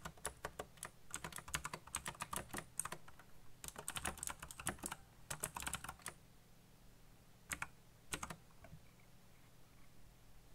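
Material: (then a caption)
Plastic. Fingertips type on a backlit black plastic mechanical keyboard, giving quick runs of sharp, bright clicky keystrokes with a low steady hum beneath. The bursts come in clusters, thin out into a few isolated taps near the end, and then the hand leaves the frame.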